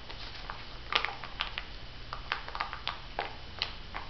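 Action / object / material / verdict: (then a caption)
tap / filled plastic-foil sheet-mask sachet / plastic foil / none. Long nail tips tap on a filled, flat olive-print Missha sheet mask packet made of plastic and foil, held in both hands. The roughly thirteen taps are sharp, bright clicks with short crinkly rustles. They come at an irregular pace over a quiet low hum.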